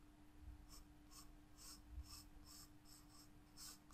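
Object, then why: Graphite pencil on a paper sketchbook page. A graphite pencil scratches and sketches lines on a white paper page of a spiral-bound sketchbook, making a series of short, bright, scratchy strokes at a steady rhythm. The sound is quiet, with a faint steady hum and soft low rumble underneath.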